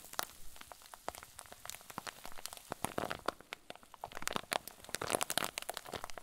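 A clear plastic zip bag stuffed with white fluffy filling is squeezed and crumpled with fingers up close. It makes a quiet, dense stream of sharp, bright crinkles and crackles with no ring, swelling into busier bursts toward the end.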